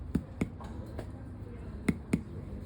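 A clinical demonstration of indirect percussion, tapping over an air-filled cavity in an unnamed object held in the hands. Two pairs of short, sharp taps, with a fainter tap between them, each give a brief hollow, resonant thud centred around 190 Hz over a low background hum. The result is a normal tympanic sound, likened to a healthy air-filled lung.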